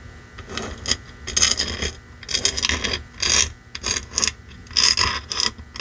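Fingertips and nails scratch and tap across the face of a small red-painted wooden block sign reading "It's beginning to look a lot like Christmas," which lies on a fur rug and seems to be solid or boxed wood. The result is a run of bright, crisp scratching bursts with short, quick taps and little low-end body, separated by brief quiet gaps.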